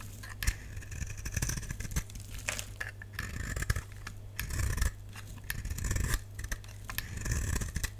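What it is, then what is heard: Dry bar soap being shaved. A utility knife blade shaves a solid, dry lilac oval bar of soap held in the palm, sending off flakes and curls. Bursts of crisp, bright scraping come in quick strokes over a steady low hum.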